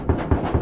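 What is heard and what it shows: Knocks on a newly replaced metal roofing sheet, struck over the platform above the trusses, give three dull, low thuds with little brightness and a short ring. The roof now sounds sturdy and different from before, no longer tinny like a can.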